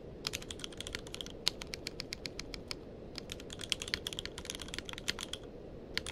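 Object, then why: Mechanical keyboard with plastic keycaps. Fingertips of both hands type continuously on a tenkeyless mechanical keyboard with plastic keycaps. The result is a rapid, irregular stream of short, bright clacks with no ring, heard over a steady low rumble. There are brief pauses near 1.4 and 5.7 seconds.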